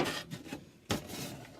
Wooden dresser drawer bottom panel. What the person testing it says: Al abrirlo se puede oír sonajero